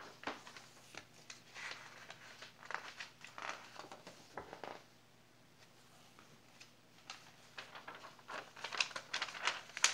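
Fingertips grip and turn the thin pages of an open glossy paper magazine with food pages, lying on a lace tablecloth, flipping and rubbing the paper. Soft, bright crinkling rustles and swishes come in irregular bursts, fall to a near-silent pause midway, then return with sharper, louder paper snaps toward the end.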